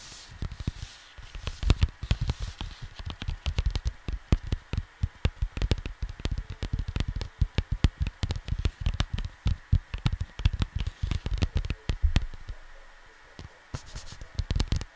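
Fingertips tap and scratch the surface of a square cardboard vinyl record sleeve resting on a desk. The result is a rapid, uneven run of dull, low, hollow taps with very short decay, mixed with faint scratching over a quiet background hiss. Near the end the taps thin out briefly before picking up again.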